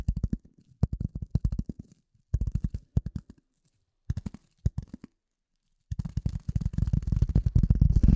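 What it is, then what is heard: Polyethylene foam sheet. A rectangular gray polyethylene foam sheet held in front of a microphone is tapped and scratched with the nails of both hands. Quick bursts of dull, low, muffled thumps come in clusters separated by short silences. The last two seconds build into a dense, continuous flurry of tapping and scratching.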